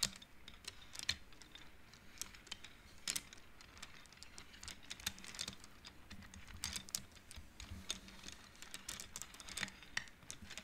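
Fingertips slide colored wooden beads along the metal rods of a large wooden-framed abacus, producing a steady stream of quiet, bright ticking clacks. Each click is short and dry with almost no ring, and the clicks come in irregular bursts over a faint low hum.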